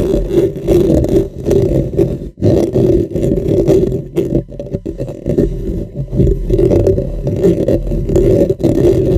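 Both hands scratch around the metal mesh head of a dark, hollow, cylindrical microphone with fingernails and fingertips. The result is a dense, continuous, close-up scraping with a hollow resonant hum around 330–400 Hz and heavy low rumble, with almost no high-end content. It drops out briefly near 2.3 seconds before resuming at the same level.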